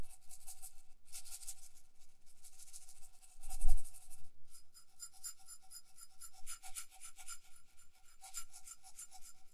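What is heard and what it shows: A small, hollow, bead-covered cup with a metal bottom is turned in one hand while long nails scratch across its beaded side and its base. The result is a continuous run of dry, bright, rasping scratches with quick little clicks. A low thump comes partway through, near the four-second mark.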